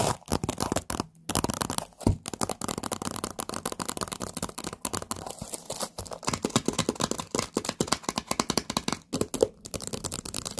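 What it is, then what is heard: Stack of paper cups. Long painted nails tap and scratch a hollow, empty stack of orange jack-o'-lantern paper party cups, partly in plastic wrap. Dense, rapid dry clicks and crinkly scraping run throughout, with short pauses and almost no ring.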